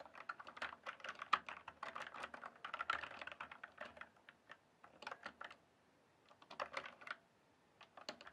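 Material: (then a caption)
Plastic. Fingertips type and tap on the plastic keycaps of a full-size RGB-backlit mechanical gaming keyboard, a Cyberpowerpc Skorpion K1 with keycaps on a frame, lying flat in a dark room. Quick runs of sharp, clacky midrange keystrokes with bright edges come in bursts, separated by short silent pauses near the middle and end.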